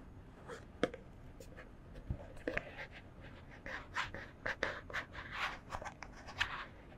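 A white plastic CeraVe face wash bottle with a pump top, held in both hands, is scratched with long fingernails. Quick, dry scratching strokes and light taps come in uneven bursts with a bright, hissy edge, each dying out at once with no ring.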